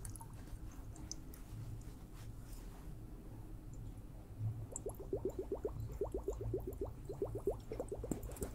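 A liquid-filled water hourglass is tapped. A quiet low hum runs for the first few seconds, then quick, uneven bursts of soft, upward-chirping bubbly blips start and continue to the end.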